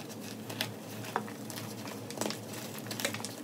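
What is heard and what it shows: Hands with long nails crush and rub broken pieces of a solid pink and yellow gym chalk slab over loose chalk powder in a white plastic tub, and the chunks crumble into powder. Soft, dry crunching and gritty patter are heard, with a few sharper, bright crackles standing out over a faint steady low hum.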